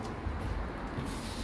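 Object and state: Nothing is struck.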